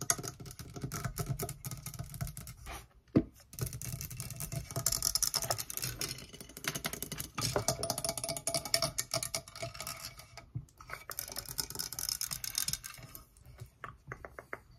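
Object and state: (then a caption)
Metal microphone body tapped and scratched. Long nails tap and scratch rapidly across the grille and hollow cylindrical body of a black metal Blue Yeti USB microphone on its stand, the same mic doing the recording. Dense, bright clicking and scraping runs over a low, boomy thud, with short pauses near 3 and 10.5 seconds and a sharper, louder tap just after 3 seconds.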